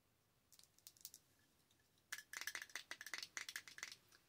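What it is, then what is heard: Glass cream jar with metal lid. Long acrylic nails tap and scratch a small, thick glass Clinique jar with a silver lid, full of cream. A few faint, scattered clicks come first, then a quick run of sharper, bright taps with a short ringing tone around 2 kHz. Each tap dies away almost at once.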